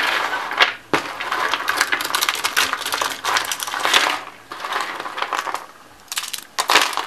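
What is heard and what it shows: Cream-white dry soap, shaved into small rolled curls and flakes on a white wooden table, is pressed flat with the palms and then crushed and crumbled with dark-nailed fingertips. Dense, dry crunching and crackling comes in bright, crisp bursts with no low end. Brief quiet gaps fall near 1, 4.5 and 6 seconds.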